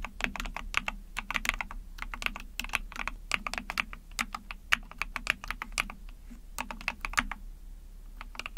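Rapid typing on a small 44-key Epomaker TH40 mechanical keyboard, with an ABS plastic case, PC plate, backlit pink and white keycaps, pressed with long painted nails and fingertips. Dozens of sharp, bright plastic clacks come in quick, uneven bursts, each dying almost instantly over a soft low thud.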